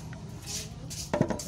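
A worn metal stabilizer link from a Toyota Avanza is wobbled by hand and gives a quick series of sharp metallic clinks after a stretch of low background noise. The link is loose, the wear that makes the car knock on bumpy roads.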